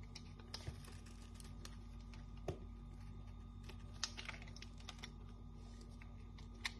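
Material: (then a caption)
Soap. A solid, dry pink Dettol soap bar, already partly carved and held in hand, is shaved with a metal knife blade, piling up crisp chips beside it. Quiet, dry, bright scraping ticks and clicks come through over a steady low hum, with a few sharper snaps standing out.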